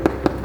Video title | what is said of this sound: Leather care is extremely important for the life of your Peter Horobin Saddle. (English) | very very stiff very dry sounds like cardboard